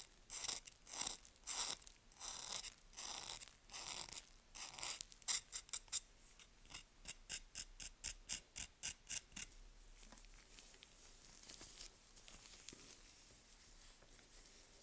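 A solid, dry bar of "Green Tea" toilet soap from Svoboda, held in a gloved hand, is scraped with a small curved knife, and the powder falls onto a red surface. Bright, crisp, rasping scrapes repeat in a steady rhythm for about nine seconds, then soften into quieter, fainter crumbly scraping.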